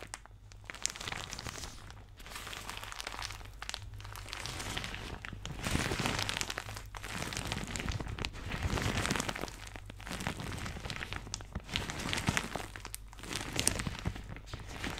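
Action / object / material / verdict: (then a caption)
scrape / thin plastic shower cap / plastic / none. A thin, soft, empty white plastic shower cap with blue polka dots is crumpled and rubbed with fingertips and painted nails beside the microphone. Dense, irregular crinkling and crackling come in swelling bursts with brief quiet gaps, bright and hissy over a steady low hum.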